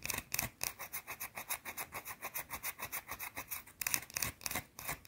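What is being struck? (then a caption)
Solid soap bar. Long blue nails scratch and rub a small, round, flat, solid white soap bar in quick, fairly regular strokes, about twenty in five seconds. Each stroke is a dry, bright, raspy scrape with little low end and a faint steady tone near 2.5 kHz.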